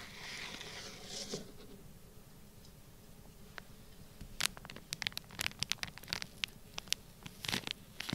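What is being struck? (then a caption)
Sealed plastic bag filled with kinetic sand. A black plastic stylus presses and scratches lines into the surface of a flat, sealed, clear plastic bag full of orange kinetic sand. It opens with a soft, bright scraping rustle that fades into a quiet hiss. Then a run of sharp, dry, high crackling ticks and snaps from the plastic fills the second half.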